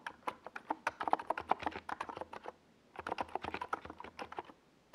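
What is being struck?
Plastic mechanical keyboard.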